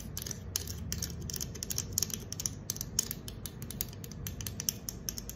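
Long acrylic nails scratch the concave silver metal bottom of a green aluminum soda can held on its side. Quick, bright, scratchy clicks come in a steady irregular stream, each cut off instantly, over a faint low rumble.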